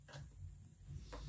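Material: Nothing is struck.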